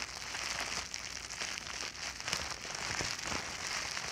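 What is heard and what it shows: A sheet of clear plastic bubble wrap is bunched and squeezed between both hands and fingertips, making a steady, bright crinkling with dense little crackles and pops throughout. The sound is mostly high, with very little low end.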